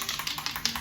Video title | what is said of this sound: Art Camp - Day 2 - Tuesday: Create and spray paint a sculpture | it's like a little metal ball inside, but it's mixing the paint up and making it ready to come out